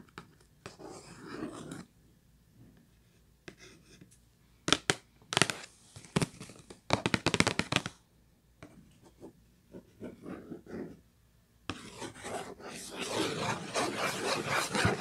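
Long nails scratch and rub the printed surface of a hollow purple Kleenex cardboard tissue box. Dry, papery scratching comes in short bursts with quiet gaps, and a cluster of sharp, louder strokes falls in the middle. The clip ends with a sustained, bright rubbing texture.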